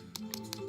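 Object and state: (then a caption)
Hollow plastic doll torso. Four light, bright taps on the hollow plastic torso of a contemporary mod fashion doll, each dying away almost instantly over a faint steady tonal background. The short, hollow clicks show the doll is hollow and very light, unlike the solid, heavier torso of a vintage No. 3 Barbie.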